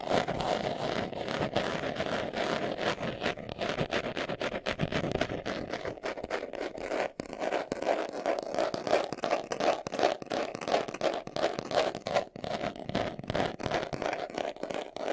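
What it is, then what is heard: Leather glasses case. Fingernails rapidly scratch the surface of a small, hollow brown pebbled leather glasses case held in the hands. The result is a dense, fast, uneven stream of dry scratching with a hollow midrange ring around 600 Hz, and brief pauses near 7 and 12 seconds.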